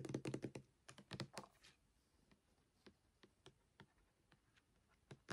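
A full red Palmolive hand soap in a clear plastic pump bottle, about 500 ml, is held in one hand and tapped quickly with the fingernails of the other hand. A fast cluster of crisp clicks with a hollow low thump opens the clip, then scattered, quieter taps follow. Each tap is short and dry, dying away almost at once.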